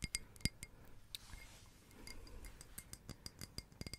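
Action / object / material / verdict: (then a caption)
tap / small glass votive candle holder / glass / none. Long red acrylic nails tap and scratch a small, hollow, empty-looking red glass votive candle holder with a textured, glittered surface. Sharp, bright glassy clicks and clinks with almost no ring are broken up by a stretch of soft, gritty scratching in the middle, then the quick taps return.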